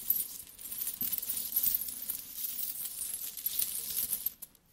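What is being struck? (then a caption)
Pile of metal coins. Flat hands and fingertips with long nails rub and rummage through a large pile of solid metal coins. A dense, bright clinking and jingling of coins shifting against each other runs throughout, with a few sharper clicks rising above it, before the sound fades out near the end.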